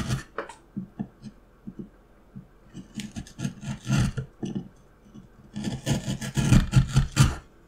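A steel carving knife scrapes and slices a solid, light wooden block around a carved pattern. Short, irregular rasping strokes each carry a dull low body with a dry, bright scratch, separated by quiet pauses. The cuts grow denser and louder toward the end.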